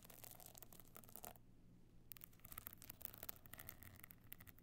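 Long fingernails on both hands scratch across the pebble-chip top of a closed, rigid, stone-chip covered box clutch lying flat with a gold frame edge. Dense bursts of bright, crackly scratching stop for a short quiet gap near the middle, then resume over a steady low hum.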